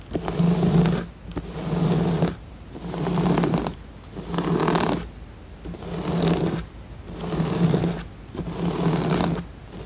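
Fingertips and long nails scratch and tap across the glossy pieces of a flat, assembled, printed cardboard jigsaw puzzle lying on a surface. Seven rhythmic bursts of bright, rasping scratching come and go, each carrying a low steady hum beneath it, separated by brief quieter gaps.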